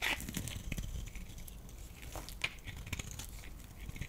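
A metal utility blade scrapes and carves a solid oval lilac bar of soap held in the hand, breaking off flakes. The sound is a dense run of crisp, crackly scraping with bright ticks and a soft low rumble underneath, including a sharper snap about midway through.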